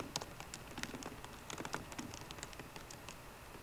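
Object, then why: Laptop keyboard with plastic keys in an aluminium body. Fingertips of both hands type on a 13-inch MacBook Pro keyboard with plastic keys in an aluminum body. The result is a quiet, steady patter of short, dry clicks and taps with a bright edge and almost no ring.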